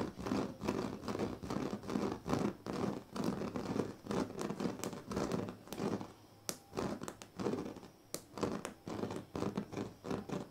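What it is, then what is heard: Woven plastic mat scratched. Fingernails on both hands scratch across the strips of a large, flat woven plastic sleeping mat. Dry, rasping strokes come in uneven bursts, broken by brief quiet gaps and a few sharper, brighter clicks.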